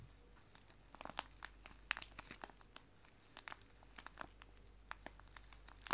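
A small, clear, crinkly cellophane bag filled with dried loose tea is held in both hands and crinkled and squeezed with fingertips and nails. The result is a quiet, irregular stream of sharp, bright crackles and crisp crinkles, with several louder snaps, over a low steady hum.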